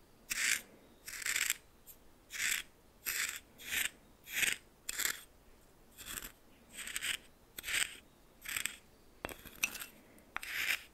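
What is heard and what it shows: Coarse salt in a small bowl is stirred with a red plastic spoon while the other hand holds the bowl steady. Repeated short, bright, gritty scraping and crunching bursts are heard with brief quiet gaps between them.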